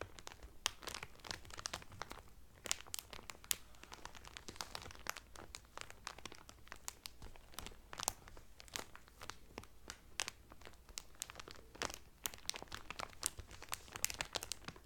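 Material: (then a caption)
Cellophane. Fingertips and medium painted nails press and crinkle the loose, thin clear cellophane sealed around a folded blue terry Carnival towel lying flat on a table. A steady, quiet stream of bright, crackly crinkles and sharp snapping pops continues throughout, with short dry ticks that stop almost instantly.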